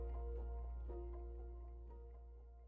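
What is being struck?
Nothing is struck.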